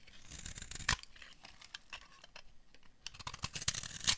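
A metal blade carves and scrapes flakes off a solid, hand-sized tan bar of dry soap. The sound is a run of crisp, dry scraping and crackling with bright, high-pitched sharp clicks. The louder snaps come near the start and again toward the end.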